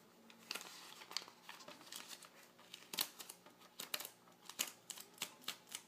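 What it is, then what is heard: Glossy magazine page, scratched and tapped. Fingertips and short nails of both hands scratch and tap on the glossy printed page of an open car magazine lying flat on a table. A quick series of sharp, dry taps and bright scratching crinkles comes through quietly, each click dying away almost at once, with nearly no low end.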